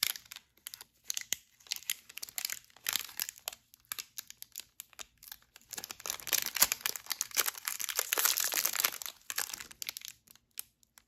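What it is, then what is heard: Crinkled plastic foil snack wrapper. A sealed, full red plastic-foil wrapper of a Tim Hortons double chocolate granola bar is held in both gloved hands and crinkled and squeezed with the fingers. It gives bright, crackly crinkling in quick, uneven bursts, building to a denser, louder stretch of crunching near the end before tapering off.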